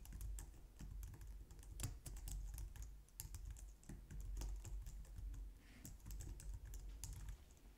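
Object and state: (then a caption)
Plastic computer keyboard. Both hands type on a white plastic low-profile wireless keyboard, using long nails and fingertips. A steady stream of quick, clicky key taps sounds, each with a short dull thud under a bright tick. The taps come in bursts with brief pauses.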